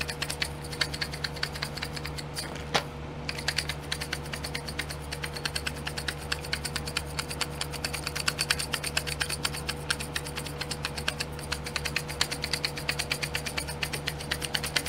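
Long painted nails tap and scratch the domed lids of twelve small clear plastic pots filled with colored glitter, set in a pink plastic tray held in the hand. The sound is a rapid, steady stream of bright, dry plastic clicks and light scratches. A constant low hum runs underneath throughout.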